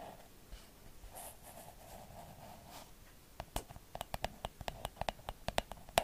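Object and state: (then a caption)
Hollow plastic lamp tapped with nails. A hand-sized, hollow, pink cloud-shaped plastic night light with a face is held in both hands and scratched, then tapped with long acrylic nails. For about three seconds there is a soft, steady scratching with a hollow tone around 690 Hz and brief high rasps. This gives way to about fifteen sharp, dry, irregular clicking taps that die away almost instantly.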